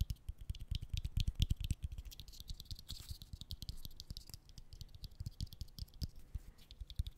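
A bottle cap is tapped in a rapid string of many quick, dry clicks with a faint rattle. Each hit stops almost instantly, with the weight in the low thuds and a light tick above. The tapping is densest and loudest over the first two seconds, then continues more softly and unevenly.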